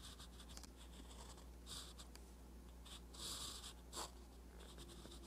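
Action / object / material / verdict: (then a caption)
scrape / metal pen nib on a paper notebook page / paper / none. A metal fountain pen nib scratches across a flat page of a spiral-bound paper notebook while writing Korean letters. Short bright scratchy strokes come in bursts over a steady low hum, with a few stronger strokes standing out.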